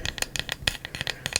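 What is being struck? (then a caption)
Wooden candle lid. The wooden lid of a candle is tapped in a quick series of light, dry taps, each with a crisp, bright click and almost no ring. The wood gives a tingly sound that is much better than the candle with the lid off.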